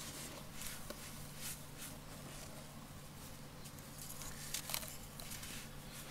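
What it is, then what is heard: Dry sand clumps crumbling. Bare hands crumble and rub solid clumps of dry yellow sand inside a round container full of loose sand, letting fine grains pour from the fingers onto the sand below. The sound is a quiet, steady crackle and gritty patter with bright hissing streaks. A few slightly louder crisp snaps come near the end.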